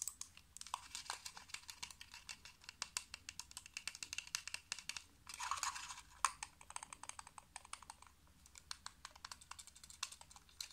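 Fingernails tap quickly on the small, hollow shell of a black plastic computer mouse. The result is a rapid stream of sharp, dry, high-pitched clicks with almost no ring. A short, softer burst of rustling comes in around the middle.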